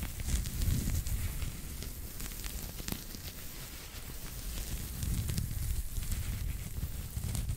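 A small pink knitted pig toy with a soft fabric surface is scratched and rubbed with fingertips and nails. The result is a continuous, crackly scratching with a low, muffled rumble underneath and faint bright ticks scattered throughout, swelling slightly near the start and again in the second half.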